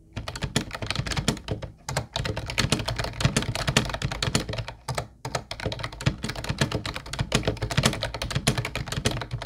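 Fast fingertip typing from both hands on a mint-blue plastic Ubotie compact keyboard with round white keycaps and a hollow shell, resting on a wooden desk. Dense, clacky key taps carry a hollow low thump under bright clicks, with short pauses near two and five seconds before the typing resumes.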